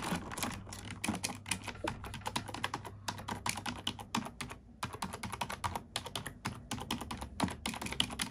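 A black plastic computer keyboard is typed on with long nails and fingertips, giving a fast, steady stream of sharp, bright clicks and clacks. A short pause comes just past the midpoint before the typing resumes, with a faint low hum running underneath.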